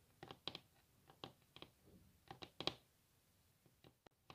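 Long natural fingernails of both hands tap and scratch a large solid wooden table top, possibly veneered, in quick, bright clicks. The taps come in an irregular run with short, dry decay and soft scraping between them.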